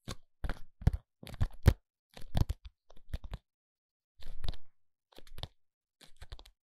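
A small, hollow, palm-sized white ALBION foundation box made of paperboard, contents unseen, is held in both hands and tapped and scratched with short fingernails. Seven short bursts of dry, crunchy tapping and scratching come with soft, low, hollow thumps and brief pauses between them, and each sound stops at once with no ring.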